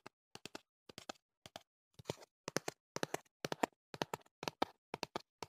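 Fingertips tap the faces and edges of a tall, hollow, printed cardboard box held in the hand. The sound is quick, dry, hollow knocks in irregular clusters of two to four, with almost no ring.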